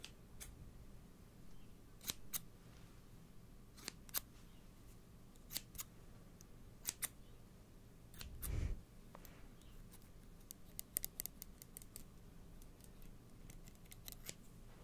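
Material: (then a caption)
Steel. Kitchen scissors with steel blades and black plastic handles, held close to the mic, are opened and closed by hand. Quiet, sharp metallic snips and clicks sound at irregular intervals, with bright, very short transients over a low background hum. A softer, fuller rustle comes around the middle.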